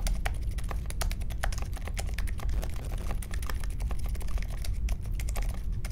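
Steady typing with both hands' fingertips on a small 60% mechanical keyboard with a grey case, white, mint and pink plastic keycaps and silent linear switches, resting on a marble desk. The sound is a fast, continuous stream of soft, muffled key presses with short bright clicks over a heavy low thump. No sharp individual clacks stand out.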